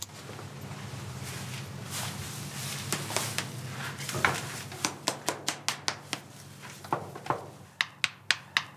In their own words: L’os il doit sonner vide, comme un tambour. Parce que comme ça, ça veut dire qu’il est bien séché.